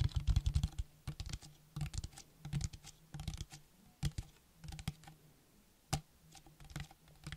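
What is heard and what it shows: A small, hollow, clear plastic bottle with a white cap and printed label is held in one hand and tapped quickly with the fingernails of the other. The taps come in rapid bursts separated by brief pauses, with hollow low thuds under bright, clicky attacks that die away almost instantly. The result sounds much like typing on a keyboard.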